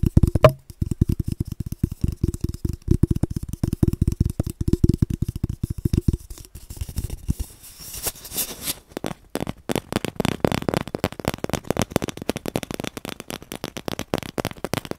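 A large, hollow, empty cardboard paper tube held close to the mic is tapped rapidly with fingertips, giving a quick run of deep, hollow thumps. It then shifts to scratching and flicking with the nails, producing brighter, drier scrapes and clicks.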